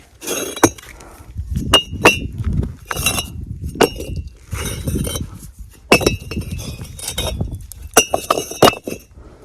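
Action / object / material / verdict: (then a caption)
knock / fired clay bricks knocked together / fired clay / well-fired. At a brick kiln, fired clay bricks are knocked against each other, giving sharp, glassy clinks with a bright ring around 2.6 kHz that dies away almost at once, over a low rumbling background. The clear ring marks them as well-fired "boond maar" bricks of the best quality.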